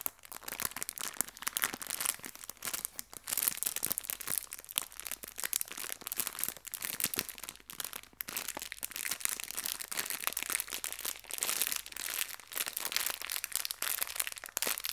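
A small clear plastic bag full of colorful hair ties is rubbed and pinched with fingertips and long nails. It gives a steady, quiet run of bright, crackly crinkles for the whole clip, with dense rapid snaps and almost no low end.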